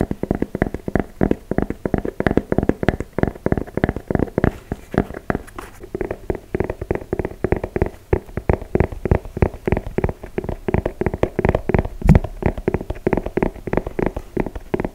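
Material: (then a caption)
Suede. Fingertips and nails scratch and tap the upper of an empty, hollow dark brown suede and mesh sneaker with a rubber sole, held in hand close to the mic. A fast, uneven stream of short, dull taps and soft scratches continues throughout, with a low, muffled tone and almost no bright high end.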